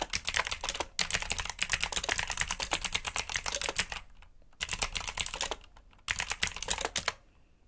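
Fingertips type rapidly on a black backlit mechanical keyboard with plastic keycaps and blue switches. It produces a dense run of bright, sharp clicks with very short decay, broken by brief pauses near one second, four seconds and six seconds before the typing resumes.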